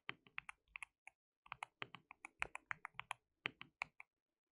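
Both hands type continuously with their fingertips on a compact, white-cased mechanical keyboard with white and pink plastic keycaps, RGB backlighting and a hollow case. About two dozen bright, sharp plastic clacks come in quick, uneven bursts with a brief pause partway through. Each click is dry and dies away almost instantly, with very little low end.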